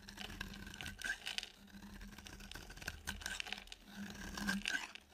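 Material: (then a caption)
Soap. A utility knife blade shaves a solid, dry, pale yellow oval soap bar, making a continuous run of crisp, bright scraping and crunching strokes that swell louder near the end. A faint, steady low hum sits beneath the shaving.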